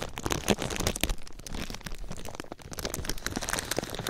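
A thin sheet of clear plastic film laid over a microphone is scrunched and rubbed by fingers. It makes a dense, continuous crinkling and crackling with sharp little snaps, and louder bursts come through near the start.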